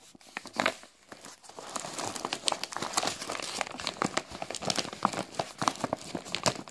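A large, full, printed plastic bag of Tarallucci biscuits is handled and crinkled with fingers and palm. Dense, bright crackling and crinkling comes in quick sharp bursts over a steady rustle, with almost no low end.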